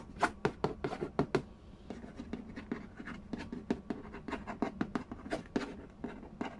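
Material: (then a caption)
Cardboard. Fingertips and nails trace and scratch the glossy printed lid of a large, hollow cardboard Game of Life board game box resting on a wooden floor. Quick, sharp taps with bright clicky edges stand out over a soft, continuous scratching rub, and each tap dies away almost instantly.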